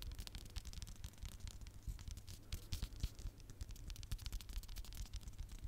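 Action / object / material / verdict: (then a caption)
scrape / hardcover notebook, board and paper cover / cardboard / none. Fingertips and nails tap and scratch the cover of a small red hardcover notebook held close to the mic. The result is a dense run of soft, low thumps mixed with quick, bright scratchy rustles.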